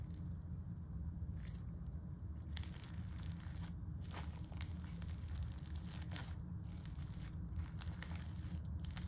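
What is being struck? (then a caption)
Slime with foam beads. Fingertips press, poke and crush a flat pale-yellow slime with glitter and small foam beads on a dark stone-look table, then fold it and flatten it with the palms. The soft, solid mass gives off scattered bright crunches and crackles from the beads and air pockets. A steady low rumble runs underneath throughout.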